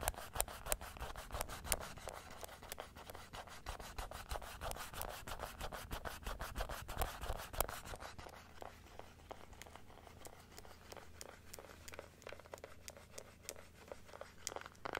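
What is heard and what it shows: Long nails scratch and rub the inner palate and teeth of a large plastic dental model held open, making a steady run of quick, dry scraping strokes at roughly three per second. The strokes are louder and denser for the first eight seconds, then continue more softly to the end.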